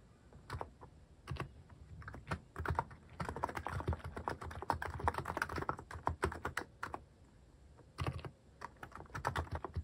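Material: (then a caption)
Plastic. Fingertips type rapidly on a mechanical keyboard with a white plastic case and cat-shaped plastic keycaps. The result is dense bursts of short, clicky keystrokes, each with a low thock and a brief bright tick that dies almost instantly. Quieter lulls come around the two-second and seven-second marks, and the hand partly covers the keys at the end.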